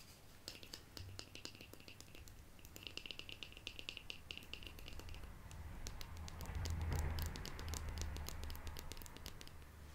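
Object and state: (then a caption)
Plastic jar lid, scratched and tapped. A small, round, hollow and empty black plastic Lush jar lid with a white logo is held in the hand and scratched and tapped with long painted nails. Quick, irregular clicking taps, roughly four per second, ride over a low rumble that swells louder around the middle of the clip before easing off.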